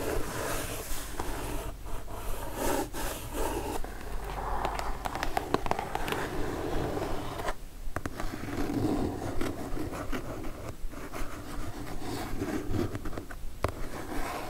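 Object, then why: Kraft cardboard mailer box. Long nails scratch across the surface of a brown kraft cardboard mailer box, then hands grip its top edge. The result is a continuous dry, rasping scrape with many quick, uneven strokes, fairly low and full in tone with some brighter bursts.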